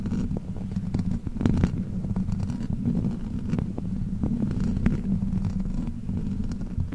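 Long black plastic fake nails on both hands scratch and tap a metal mesh microphone grille. A steady, dense low rumble fills the clip, with many quick, sharp taps and scratchy clicks flickering on top of it.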